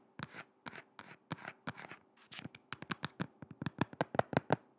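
A black shoe with a rubber sole is held close to the microphone and tapped and scratched on the sole with long red nails. Slow, soft scratchy strokes give way to faster, sharper taps that grow denser and louder toward the end.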